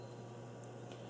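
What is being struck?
Nothing is struck.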